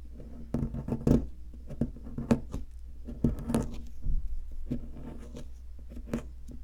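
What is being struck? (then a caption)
Plaster excavation block scraped with a wooden stick. A pointed wooden stick scratches and digs into the center hollow of a solid, palm-sized, white plaster block shaped like an ammonite fossil. Dry, short scraping and gritty picking strokes come in uneven bursts over a steady low hum, with the loudest jabs standing out briefly and dying away almost at once.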